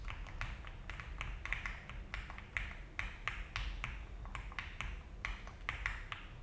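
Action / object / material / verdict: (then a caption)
tap / mechanical keyboard with plastic keycaps / plastic / none. An Alice-layout mechanical keyboard with a frosted plastic case and cream and brown ABS keycaps sits on a desk mat while the fingertips of both hands type and tap the keys continuously. Each keystroke is a short, bright plastic clack centered around 2 kHz that dies away quickly, coming in an uneven, slow rhythm over a steady low background rumble.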